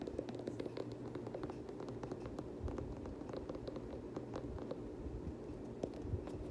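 Fingernails scratch and tap along the white and blue plastic midsole edge of an Air Jordan 7 nubuck sneaker, making a steady run of quick, dry clicks over a soft, low scratching rustle. The taps are short and muted, with a faint hum underneath throughout.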